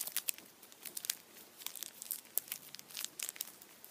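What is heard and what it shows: A hand-sized Kinder chocolate Easter bunny, solid chocolate inside and wrapped in blue printed aluminium foil, is held lying down while fingertips and nails squeeze and rub it. The foil gives off quiet, bright, crisp crinkles and sharp crackles in an uneven run with almost no low end, each snap dying away instantly.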